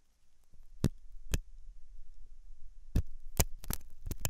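A thin hooked metal dental tool scratches inside the ear canal of a soft white silicone dummy ear on a binaural microphone. Close, low rumbling rubs and scrapes are punctuated by sharp, bright clicks, clustered more densely toward the end, over a faint steady high-pitched hum.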